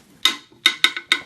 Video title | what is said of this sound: New VStarcam T7833WIP Wireless IP Camera: Unboxing & Review! | this is a actual metal here hit it with my ring so you can hear it